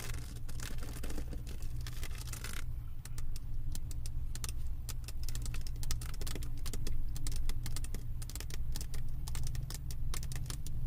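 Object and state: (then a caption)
Resin-drill diamond painting canvas, tapped and scratched. Long acrylic nails tap and scratch over the plastic resin drills of a flat diamond painting resting on a wooden table, at times with one hand. Rapid, dry, bright clicks and brief scratches sit over a steady low hum throughout.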